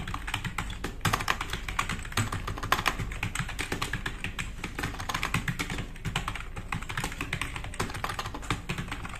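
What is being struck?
Plastic mechanical keyboard.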